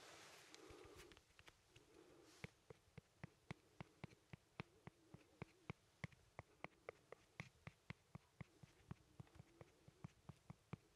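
A pencil's wooden tip scratches and pokes at a small, solid, whole fresh yellow lemon held in one hand. Soft, brushy scratching over the first couple of seconds gives way to a steady, even run of quiet, sharp little taps with a dull low thud and a brief bright click that die away instantly.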